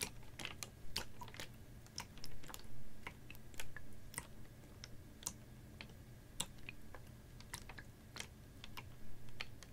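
A capped, clear ribbed PET water bottle, about half full of water and held horizontally, is tapped with fingernails. Quick, sharp, bright clicks come in irregular bursts over a steady low rumble, each tap dying away almost instantly.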